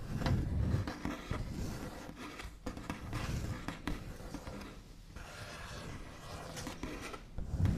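The backs of fingernails rub and scratch across a large solid wooden tabletop with a smooth white finish. The result is a dry, scratchy, irregular rubbing with a heavy low rumble and short sharp ticks scattered throughout, swelling louder near the start and end.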